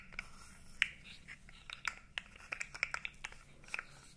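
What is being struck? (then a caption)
Segmented plastic fidget toy. A blue segmented plastic fidget toy, about 20 cm long with hollow segments, is flexed and rubbed with the fingers so its segments click. Sharp, dry, bright clicks come at an irregular pace, centred around 2.3 kHz, over a faint low background hum. Each click stops almost instantly with no ring.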